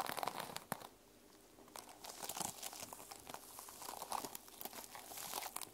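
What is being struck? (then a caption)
Notebook with plastic sequin cover. Long nails scratch the plastic sequins on a closed mermaid sequin-covered journal, which is briefly turned on its edge. The result is a dense, bright, crinkly rasp of quick clicking ticks with a short, quieter pause early on before the scratching picks up again.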